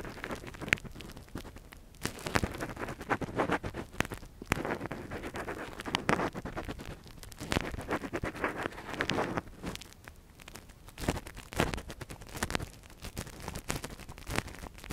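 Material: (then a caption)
Silicone. A gloved hand steadily works a metal earpick inside the canal of a silicone ear model. Close, dense scratching and crackling rustles come in uneven bursts of quick, dry clicks with no ring. The clip stays quiet overall, with sharper scrapes standing out briefly.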